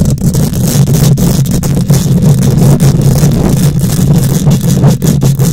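Long nails scratch aggressively across a hollow wire-mesh microphone grille, producing a steady, loud low rumble centered around 100–200 Hz. A dense, gritty scraping texture rides on top, with faint bright hiss and brief dips in level as the strokes change direction.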